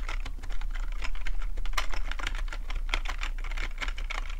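Fingertips of both hands tap the keys of a black plastic full-size computer keyboard with a hollow housing, resting on a fluffy rug, in fast typing. Quick, irregular, short clicky taps blur into a continuous patter over a steady low hum.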